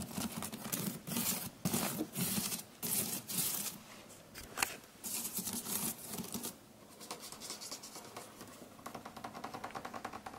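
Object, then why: Woven plant-fibre storage basket. Fingertips and nails scratch and tap along the braided weave of a hollow, rectangular woven water hyacinth storage basket made of plant fibre, with a round handle hole, sitting in a white shelf cube. Dry, crackly bursts of bright scratching alternate with short taps. The clip ends in a quick, fluttering rasp across the weave.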